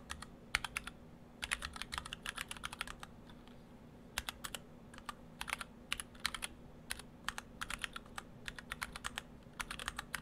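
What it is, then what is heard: Mechanical keyboard with PBT plastic keycaps. Fingertips of both hands type on a split ortholinear mechanical keyboard in two halves with clear acrylic cases, white and cyan PBT dye-sub keycaps and Gateron Brown switches. Quick, dry, bright clacks come in bursts of rapid keystrokes separated by short pauses, each dying away almost instantly. A steady low hum sits underneath throughout.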